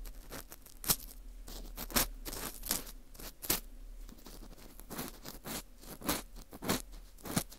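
An orange plastic earpick scrapes inside the center hole of a dry, porous slice of dried wheat gluten fu. The result is a run of soft, crisp scratching and crunching sounds, with brief bright peaks over a low background hiss.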